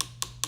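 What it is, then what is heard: Dry acrylic nail. A finished, dry acrylic nail is tapped with a nail file, giving quick, bright, clicky taps with almost no ring, evenly spaced about 0.2 seconds apart. The hard, crisp tap shows the nail is good and dry.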